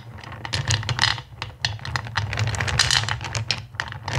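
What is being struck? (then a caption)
Pile of small acrylic gems in a bowl. Fingertips with long pink nails rake and rummage through a black bowl filled with small, solid, clear acrylic crystal-shaped gems. The gems clatter against each other in a dense, continuous stream of bright, sharp clicks and rattles over a steady low hum.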